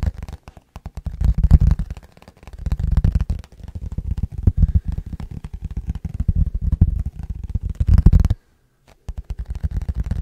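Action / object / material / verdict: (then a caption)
tap / plastic food container with lid / plastic / none. An empty, hollow, clear plastic food container with its lid on is held in both hands and tapped with fingertips and nails. Rapid, dense bursts of short, dull taps with a low, thumpy body come in waves, with little ring after each tap. The tapping pauses briefly near the end, then resumes.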